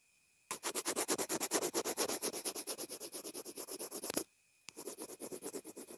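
A pencil tip sketches and scratches across the housing of a small white plastic inline earphone remote/mic that is taped down. Quick, evenly paced dry scratching strokes run for about four seconds, pause briefly, then resume in a softer run. A faint steady tone sits underneath throughout.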